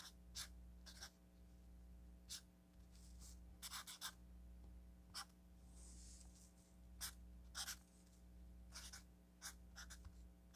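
A felt-tip marker writes on a solid stack of orange paper sticky notes, making a series of short, bright scratching strokes. The strokes come in quick bursts separated by brief pauses, over a steady low hum.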